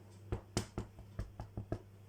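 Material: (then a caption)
Bread. A baked-through white bread loaf is tapped seven times, each tap giving a short, dull, hollow knock. This is the hollow sound expected of a fully baked loaf. A steady low hum sits underneath the taps.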